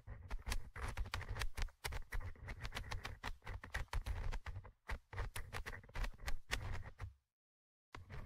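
A thin orange stick scratches rapidly across the small metal mesh microphone grille of a Tascam handheld recorder. The result is dense bursts of crackly, ticking scrapes over a heavy, booming low rumble. The scraping stops for just under a second before starting again at the end.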